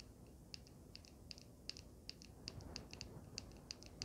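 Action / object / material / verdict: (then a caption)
tap / handheld vape device with resin panel and metal frame / resin, metal / none. A solid, small handheld vape mod with a swirled gold resin panel and metal frame is tapped and scratched with long painted nails. Quick, sharp, bright clicks ring out in an uneven rhythm over a quiet low rumble, with faint scratchy texture between the taps.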